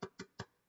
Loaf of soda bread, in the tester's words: we don't want it to have a soggy bottom, so it should be really nice and hollow. So when you tap it with your fingers, it should sound like that